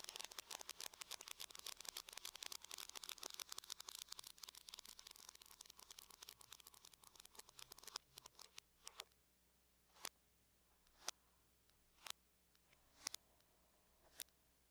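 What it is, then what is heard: Aluminum laptop lid tapped with fingernails. Long nails tap on the lid of a closed silver aluminum laptop, starting with a rapid, dense flurry of bright, dry clicks for about eight seconds. The tapping then thins out and slows to five separate, sharp taps about a second apart, each dying away almost instantly against near silence.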